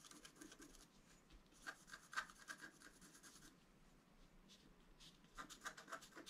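A wooden stylus scratches the coating away around a deer head drawn on a flat, thin, solid black-coated scratch art card. The result is a quiet, dry rasping of short scratchy strokes with a bright edge around 1.5 kHz and small sharp ticks. The strokes get louder in brief bursts around two seconds and again near the end.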